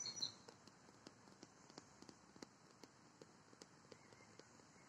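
A large, empty, hollow black plastic ball mounted on a metal pole at a playground is tapped and scratched with long nails and fingertips. About fifteen light, sharp, bright clicks decay almost instantly, with a louder scratchy flurry at the start. A steady, hissy outdoor ambience runs underneath.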